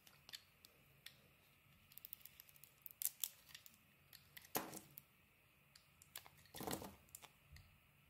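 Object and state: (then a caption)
Bar of soap being carved. A metal blade scrapes the surface of a solid, palm-sized pink and orange bar of soap held in the hand, peeling off thin layers. Quiet, bright scraping ticks and short shaving strokes come at an uneven pace, with two longer, louder scrapes near the middle and end.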